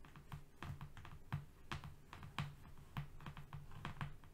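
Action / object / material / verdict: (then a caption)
tap / cardboard sheet / cardboard / none. Fingernails from both hands tap and scratch quickly on a flat brown cardboard strip lying on a rug. The result is a quiet, rapid run of dull, low, hollow taps with short clicky edges and scratchy rustles in between. Each tap dies away almost at once.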